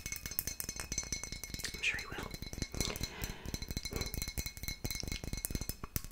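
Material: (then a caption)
Glass. A full dark glass wine bottle is tapped and scratched with long nails on its paper label and glass body. The result is a dense run of quick, bright clicks and clinks mixed with soft scraping.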